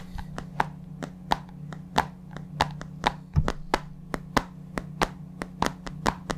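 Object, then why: Plastic supplement tub. A large white plastic supplement tub, with its lid on, is held on its side in the palm and tapped with the fingertips. This produces a steady run of short, dry, hollow taps with almost no ring, over a constant low hum.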